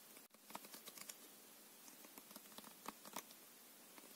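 A full deck of coated paper playing cards is held in the left hand while the right thumb and fingertips riffle its edges. The result is a quiet stream of rapid, crisp flicking clicks, bright with little low end and almost no ring after each one.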